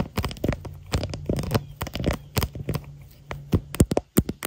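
Long nails and fingertips tap and scratch the lower camera area on the back of a smartphone in a clear hard plastic floral case, while the phone itself records. Quick, dry taps that die away almost instantly are mixed with soft scratching. The sound is close and bass-heavy, with a low hum underneath.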